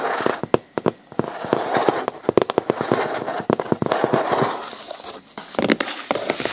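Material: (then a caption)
Cardboard. Fingertips and short nails of both hands scratch and tap a large, flat sheet of hollow corrugated cardboard, or the side of a box. Rapid, dry, crackling scrapes mix with many sharp, short taps that die away almost at once.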